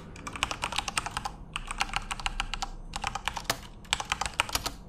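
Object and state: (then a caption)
Plastic mechanical keyboard typing. Fingertips of both hands type continuously on a full-size, RGB-backlit Corsair mechanical keyboard with plastic keycaps. Rapid bursts of sharp, bright, dry clicks and clacks run together, broken by brief lulls around 1.5 and 3 seconds. Each keystroke dies away almost instantly.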